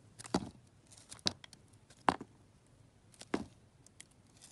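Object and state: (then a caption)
Soap bar being carved. A metal knife carves and scrapes thin slices off a hand-sized solid soap bar, yellow with a purple glitter layer, held by a hand with long red-black nails. Four sharp, crisp cuts stand out, each with a bright crackling edge, and fainter scraping sounds fill the gaps between them. The cuts stop dead with no ring, over a quiet background.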